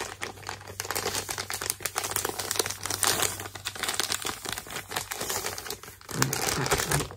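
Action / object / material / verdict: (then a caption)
scrape / plastic poly mailer bag / plastic / none. A filled white plastic poly mailer with barcode labels is held and crinkled by hand, with fingers squeezing and rubbing the plastic. This produces continuous bright, dense crinkling with many sharp crackles and a low steady hum beneath. After a brief lull near the end, the crinkling returns louder.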